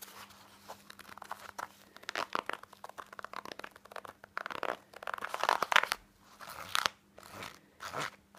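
Fingernails scratch a black, textured, soft and padded fabric pouch held in the hand. The scratching comes in quick, dense bursts of dry, crunchy rasping with bright, sharp edges and pauses between runs, over a faint steady low hum.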